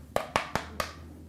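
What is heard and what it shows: A pen taps four times on a plaster foot cast for orthotics, checking whether it has firmly set and hardened. Each tap gives a short, dry, hollow click with a bright ring near 1.1 kHz that dies away almost at once. The crisp sound shows the cast has set and is ready to be removed.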